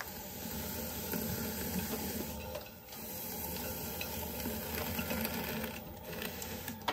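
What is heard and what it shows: A metal trimming tool, guided by fingertips, scrapes and trims the foot of a medium-sized, hollow, unfired leather-hard clay bowl set upside down on a spinning potter's wheel. A steady, gritty scraping hiss with a low rumble runs throughout, dotted with small ticks and briefly softening near the three-second mark before resuming.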